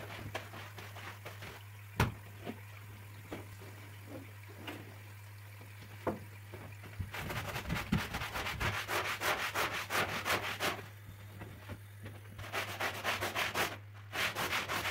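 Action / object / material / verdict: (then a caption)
scrape / woven rug scrubbed with a plastic bristle brush / woven fabric / none. A long-handled plastic bristle brush is pushed across the pile of a large, flat, woven floral rug lying wet and covered in soap suds on the floor. Soft, scattered scrubbing and a few sharp knocks give way halfway through to fast, continuous bristly rubbing strokes, all over a steady low hum.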